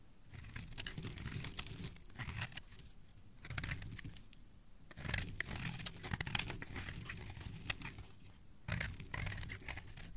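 A palm-sized, speckled solid green soap bar, held in the fingers of a hand with dark painted nails, is shaved and scraped with a metal blade, and its curls fall onto a wooden surface. Bursts of crisp, crinkly scraping with bright high edges and a soft low rumble come in several strokes separated by brief quiet pauses.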